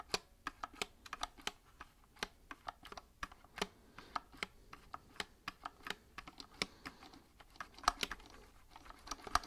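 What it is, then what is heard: Plastic mechanical keyboard. A compact white mechanical keyboard with plastic keycaps, held sideways near the mic, is tapped repeatedly by fingertips. About 39 short, sharp plastic clicks sound at an uneven typing pace, each bright and dry with almost no ring and little low end.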